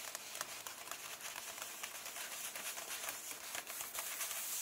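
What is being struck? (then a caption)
Softcover comic book paper pages. Fingertips and nails rub and tap at the page edges of an open, large softcover comic book with paper pages. A quiet, bright, steady stream of papery scratching and crinkling is punctuated by irregular light taps, with almost no low end.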